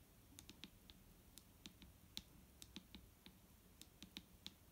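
Long fingernails on both hands tap a large, clear plastic micellar water bottle with a green cap, lying full of liquid on a wooden table. The result is a quick, irregular run of sharp, dry, bright clicking taps. Each tap dies away almost instantly over a faint low hum.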